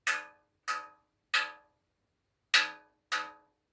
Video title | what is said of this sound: How To Identify Copper, Brass & Bronze | you can hear that is a deep, low sound.